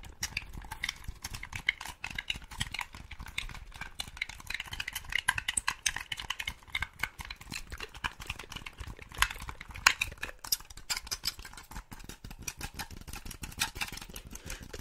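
Long pink acrylic nails rapidly tap and scratch a hollow black plastic Xbox-style game controller held close to the microphone, working over its body, buttons and sticks. The result is a dense, fast stream of short, dry, bright plastic clicks and scrapes with almost no ring, over a faint low rumble.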